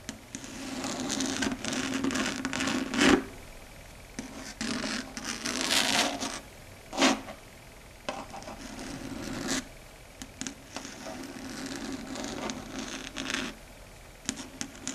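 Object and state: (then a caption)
Chalkboard tapped and scratched with long nails. Long red stiletto nail tips tap and scrape across a large, flat, dark gray solid chalkboard in pattering clicks. Bursts of scratchy, rubbing friction with a low hum and bright hiss alternate with sharp, quick taps, rising and falling unevenly throughout.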